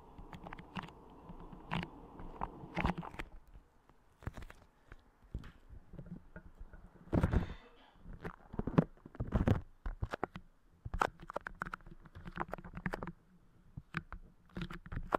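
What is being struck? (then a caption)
Clear putty clay pressed on a microphone. Fingertips squish, press and tap clear putty clay moulded over the grille of a Blue Yeti microphone. The result is a string of close, sticky popping and squelching contacts. They sound dull and low-heavy, with short bursts spread across the clip.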